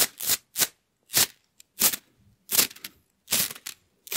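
A rainbow plastic slinky coil spring toy is compressed, stretched and let fall between hands, its coils clicking against each other. Quick bursts of dry, bright, crackling clatter come in short clusters separated by near silence, with almost no low end and very little ring after each burst.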